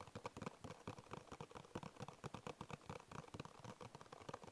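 Fingertips with short nails tap and scratch the flat printed side of a small, hollow, closed Bisco paperboard biscuit box. About 27 quick, dry, hollow taps with scratchy brushing sit around 1 kHz with a little low thump. Each tap dies away almost at once in a soft, steady patter.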